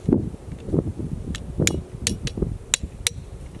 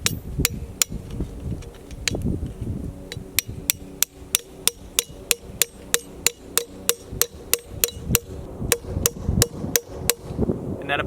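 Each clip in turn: First: Sharp metallic hammer strikes with a bright, springy ring: the spile is not yet seated in the wood. Second: A run of quick, sharp hammer blows on a metal spile in a tree, each short and clicky until it sits tight.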